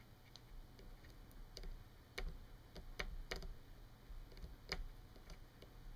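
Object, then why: Plastic clothes hanger. Long nails tap and click along the hook and bar of a thin, solid yellow plastic clothes hanger lying on a wooden table. Quiet, sharp, dry clicks come at an irregular pace, each bright and very short, over a steady low hum.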